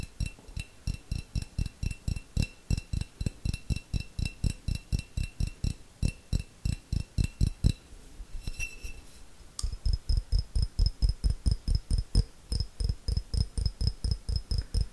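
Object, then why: Small glass jar. A small, clear, hollow glass jar that appears empty is tapped rapidly with fingernails close to the microphone, making about 57 quick, dull clicks with a faint high glassy ring. The tapping briefly pauses for a soft rubbing sound around the eight-second mark, then resumes with a slightly brighter ring.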